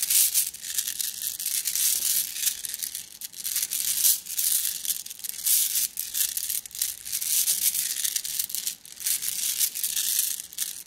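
A plastic mesh bag of flat blue glass gems is squeezed by hand, making the gems clink and rustle against each other. The sound is a bright, high-pitched crinkling chatter with no low end, rising and falling in repeated squeezing waves over about eleven seconds.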